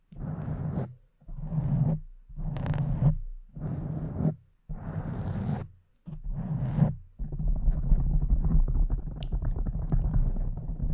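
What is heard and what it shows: Long nails scratch and stroke the sides and top of a pink foam microphone windscreen. Six separate muffled, rumbly strokes of about a second each come first. They are followed by a continuous stretch of low, dense scratching to the end.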